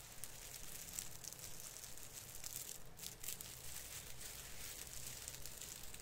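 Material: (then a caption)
Plastic. Both hands rub and brush the branches of a plastic artificial Christmas tree, a fir with plastic needles, making a steady crinkling rustle. The sound is a dense, bright hiss of crackles over a soft low rumble, with a few slightly louder bursts along the way.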